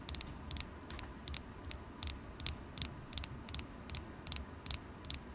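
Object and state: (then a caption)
Carnelian crystal point tapped with nails. A solid, polished carnelian stone point held in the fingers is tapped with long acrylic nails in fourteen short bursts, many of them quick double clicks, at a steady unhurried pace. Each tap is a sharp, bright click that stops instantly with no ring, over a faint low background hum.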